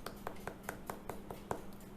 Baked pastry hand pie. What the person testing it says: It sounds hollow, which indicates that it's quite flaky inside.